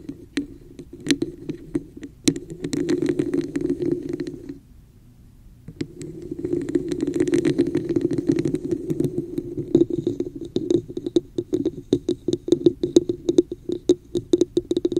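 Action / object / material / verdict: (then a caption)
tap / textured plastic cup / plastic / none. Long nails tap and scratch the sides and top of a hollow red plastic cup with a woven texture, held over a microphone. Sharp, quick clicks and rasping scratches ring with a hollow, boxy tone, broken by a brief near-silent pause before the scratching resumes. Rapid tapping follows toward the end.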